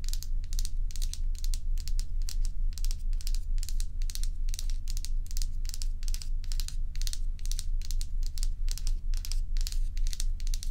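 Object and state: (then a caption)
Large ice block being scratched. Long pointed nails scratch along the frosted, curved surface of a large, solid, dome-shaped ice block held upright. It makes a steady run of bright, crinkly scraping strokes at a brisk, fairly even pace over a constant low hum.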